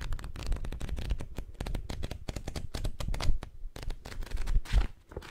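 Long nails and fingertips flip and riffle the paper pages of a thick, dark-covered paperback book held open beside the microphone. The result is a dense run of quick, dry papery flutters and soft ticks that decay almost instantly. A heavy, low, thumpy rumble sits under them as the pages fan out.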